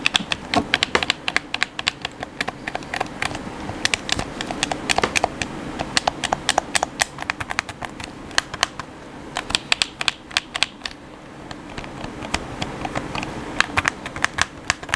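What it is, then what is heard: Plastic game controller buttons. Fingertips and thumbs tap and press the face buttons and thumbsticks of a black, hollow plastic PS4-style gamepad held in both hands. The result is a steady stream of rapid, sharp, bright plastic clicks with almost no ring, over a faint low hiss.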